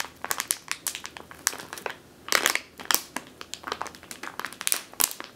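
Long teal nails squeeze and scratch a medium clear plastic bag with a purple label, full of flour or grain. A rapid series of sharp, bright crinkles and crackles follows, with no low rumble. The sound thickens into a denser crunching burst around the middle of the clip before returning to quick, separate crinkles.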